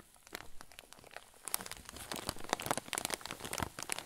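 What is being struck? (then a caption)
Clear plastic zip bag with soft stuffing. A clear zip-lock plastic bag full of white fluffy filling is squeezed with thumbs and fingers. It gives dense, soft crinkling and crackling that starts quietly and grows busier and louder after about a second and a half, with bright, crisp edges and no ring.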